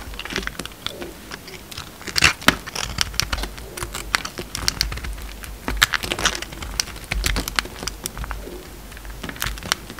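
A utility knife shaves a solid light blue bar of soap, making dense, crisp scraping and cutting sounds. Bright, short crackles and clicks come in quick succession, with a few sharper, louder cuts standing out above a steady scratchy texture.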